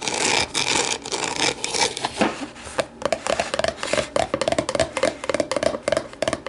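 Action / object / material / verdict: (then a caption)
tap / thin plastic deli container / plastic / none. Long nails scratch and tap inside and outside an empty, hollow, translucent plastic deli container as it is turned, then tap its base once it is set upside down. The first few seconds are dense, bright scratching. Quick, crisp taps with a short hollow plastic ring around 650 Hz follow.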